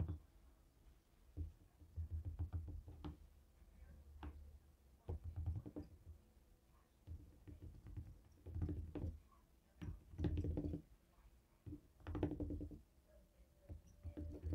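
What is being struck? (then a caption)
Plastic remote control. A small flat black plastic RGB LED remote with colored rubber buttons, lying on a wooden table, is tapped and rolled over by a handheld jade stone face roller. Soft, low, dull knocks and taps come in short clustered bursts separated by quiet gaps, with brief rolling patter between them.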